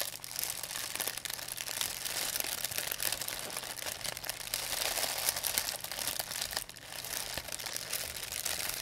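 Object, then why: Thin plastic bag. An empty, thin white plastic pharmacy bag is crumpled and rubbed with fingertips and long nails. It makes a steady, dense, bright crinkling and crackling for the whole clip, with a brief quieter dip near the end before the crinkling picks up again.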